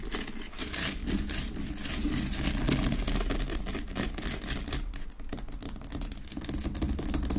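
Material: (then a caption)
Rock salt. Long nails tap and scratch fast on a large, solid pink Himalayan rock-salt lamp that sits unlit on a wooden base. Dense, irregular bright clicks and gritty scraping rasps run throughout over a steady low rumble, dipping briefly just after the five-second mark before picking up again.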